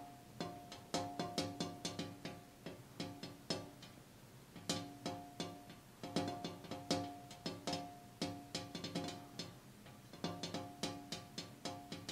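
A glass window pane is tapped repeatedly, in quick bursts separated by short pauses. Each tap gives a bright click over a short, hollow ring with a clear pitch near 285 Hz. The ringing fades within a fraction of a second.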